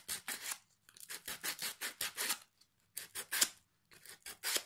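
A small piece of sandpaper held in the fingertips rubs along the edge and face of a solid pine plank with metal hooks, held in the lap. Quick, bright, rasping strokes come in uneven runs separated by brief pauses, with almost no low end.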